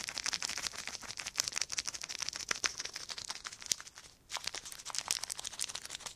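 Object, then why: Crumpled clear plastic film. A small crumpled sheet of clear plastic film is crinkled and twisted between the fingertips of both hands. Dense, bright, crisp crackles with almost no low end snap continuously, pausing briefly just past four seconds before resuming.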